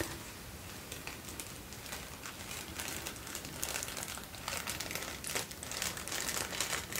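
A folded sheet of thin white tissue paper is held up close in both hands and crinkled and rubbed between fingertips with short nails. The result is a steady, soft, bright crinkling with irregular crackles, growing slightly louder and busier in the second half.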